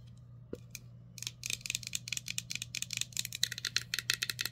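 A clear, can-shaped drinking glass with a colorful printed wrap, hollow and empty, is held in the hand and tapped and scratched with long nails. Bright, crisp clicks and scratches arrive in a quickening series over a low steady hum, each dying away almost at once.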